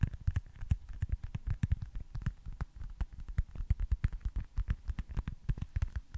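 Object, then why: Foam stress ball. A small, solid white foam baseball stress ball with red stitching is tapped and scratched with fingertips and nails above and beside the mic. The result is a quick, steady stream of soft, dull, bassy thumps with very short decay, and faint scratchy clicks on top.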